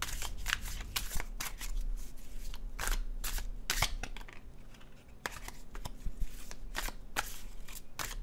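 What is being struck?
Paper tarot card deck.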